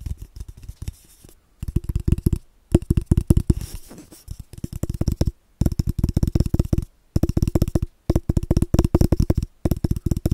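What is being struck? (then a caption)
Cardboard paper tube. An empty, hollow brown cardboard tube is tapped rapidly with the fingertips while it is moved around the microphone. Quick bursts of soft, deep, hollow thumps are separated by brief pauses, and each tap dies away almost at once.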